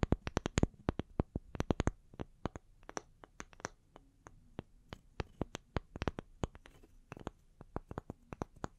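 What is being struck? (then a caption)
Small round wooden log slices. Long nails tap the cut faces of two small, solid, round wooden log slices, first resting on the palms and then held upright. A quick, irregular run of short, dry clicks with a soft low knock beneath each, dying away almost instantly. The taps bunch into fast flurries at the start and again near the end, with sparser tapping in between.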